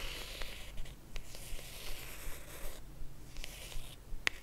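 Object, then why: Small rigid cardboard box. Long acrylic nails tap and scratch a small, hollow, rigid cream cardboard jewelry box held in both hands. Soft, dry scratching and brushing runs throughout, broken by light, quick taps. A sharper, brighter click comes near the end.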